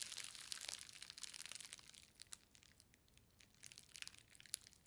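A green plastic bubble-wrap parcel with a book inside is held and squeezed along its edges with fingers and long nails, crushing and popping the bubbles. Dense, bright crinkling and crackling fill the first two seconds, then ease into quieter rustling with scattered sharp pops. The activity builds again toward the end, where one crisp pop stands out.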